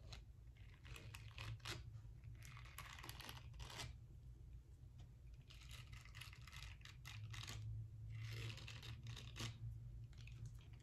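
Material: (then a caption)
Silicone. Long nails scratch across the nubby bristles of a small round pink silicone face-cleansing brush, which is then moved toward the edge of the frame. The result is quiet, irregular bursts of dry, bright scratching and rustling over a low, steady hum.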